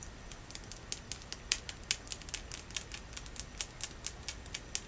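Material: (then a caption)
Quartz. A solid, hand-sized clear quartz crystal point, held horizontally, is tapped with long natural fingernails in a quick, irregular series of light taps. Each tap is a sharp, bright click with almost no ring, heard over a faint steady hiss.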